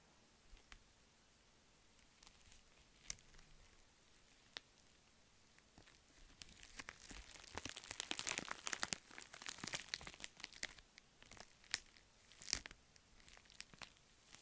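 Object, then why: Foil padded envelope with bubble lining. A flat, empty pink metallic bubble mailer, a padded envelope with a foil outer film and bubble-wrap lining, is held in both hands while fingertips and long painted nails press, scratch and crinkle its surface. Sparse, sharp, bright clicks open the clip, then build into a dense, hissy crinkling and crunching at the middle before thinning back out to scattered crackles and snaps.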